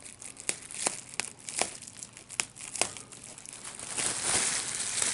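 A large sheet of clear plastic bubble wrap with small air bubbles is lifted and handled while the bubbles are pinched with the fingers. Sharp, bright pops stand out over a steady crinkling of the plastic. The crinkling grows louder and denser toward the end.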